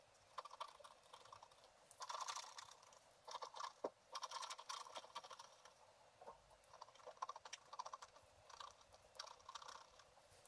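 A pointed wooden stylus held in the fingers finely scratches the colored pattern areas of a flat sheet of black wax-coated scratch art paper resting on a table. Quiet, dry, rapid scratchy strokes come in clustered bursts with short pauses, sitting in the midrange and high hiss with no low end.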